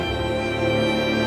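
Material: Nothing is struck.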